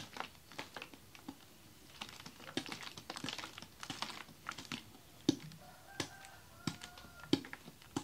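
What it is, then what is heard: Plastic water bottle with icy water. A large, clear, ribbed plastic water bottle with a red cap, holding icy water, is held in both hands and shaken. Irregular bursts of quick, bright clicks and rattles come from the ice knocking inside, broken by a few sharper knocks in the second half. Faint steady tones sit underneath in the last few seconds.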